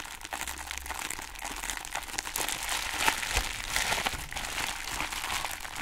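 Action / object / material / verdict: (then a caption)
scrape / foam plastic packaging sheet / plastic foam / none. A soft pink embossed foam or plastic packaging sheet, held in both hands, is crumpled and rubbed by fingers with long nails. A steady, dense crinkling fills the clip, bright and airy with soft crackles and little low end. Brief louder crunches rise around the middle before it settles back into continuous rustling.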